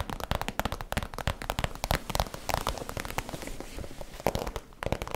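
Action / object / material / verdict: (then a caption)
tap / vinyl plastic zip pouch / vinyl plastic / none. Long nails tap and scratch the plastic surface of a holographic vinyl cosmetic zip pouch, held close with its zipper edge in view. A rapid, uneven run of sharp, crisp taps mixes with crinkly scratching and brief crackle, each hit dying away almost at once.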